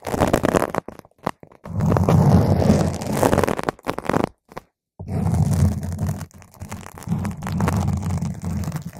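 Long nails scratch a round purple foam microphone windscreen on its top and sides, producing dense, low, rumbling scratchy bursts. The bursts come in irregular stretches separated by brief silent gaps.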